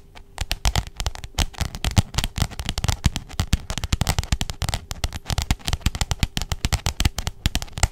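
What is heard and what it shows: Long jeweled nails rapidly tap and scratch the glossy plastic cover of a pink, roughly A4-sized spiral notebook held flat in front of the microphone. The result is a dense, fast stream of dry clicks and crackly scratches, each with a dull low thump and almost no ring. A faint steady tone sits underneath.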